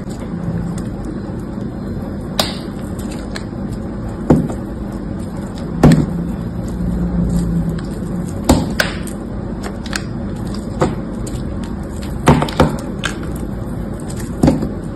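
A solid white, flower-shaped bar of dried soap, held in one hand, is cut and scraped into crisp chunks with a metal utility-knife blade. Sharp, dry cracks and snaps stand out irregularly over a low, steady scraping rumble, each crack decaying almost instantly.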